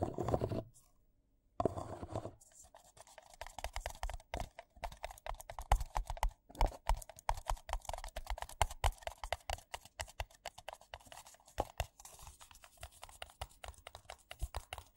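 Fingertips and nails rapidly tap and scratch two identical empty white paper coffee cups, hollow and thin-walled. Dense, quick clicks and dry scraping rasps run throughout, with a brief silent gap near the start.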